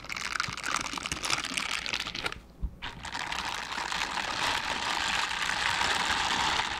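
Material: Silicone.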